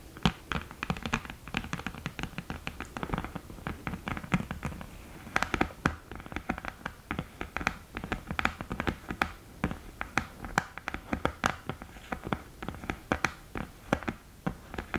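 Long green nails tap quickly and irregularly on the top edge of the mirror lid of an open cardboard eyeshadow palette. The taps are short, dry clicks with a low thud and a bright edge, dying away almost at once, with faint scratching between them.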